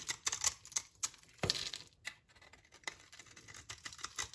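A utility knife blade scrapes crumbs off a solid, dry, brownish soap bar held in the hand, over a pile of shavings. The sound is a series of crisp, bright scrapes and crunchy ticks with very little low end and almost no ring, with one longer rasping stroke partway through.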